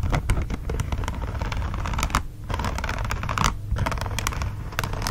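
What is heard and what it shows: Fingertips scratch and tap the smooth back of a green silicone dish glove folded with that side facing up. Quick, bright clicky taps and scratchy rustles sit over a steady low rumble, easing off briefly twice before picking up again.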